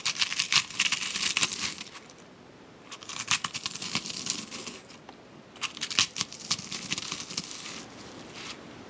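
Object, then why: Freeze-dried strawberries in a stone mortar. Whole crisp freeze-dried strawberry slices, dry and brittle, fill a large granite mortar and are crushed and pounded with a hand-held granite pestle. Three bursts of bright, dry crackling and crunching are heard, with quieter pauses between them as the brittle pieces break apart.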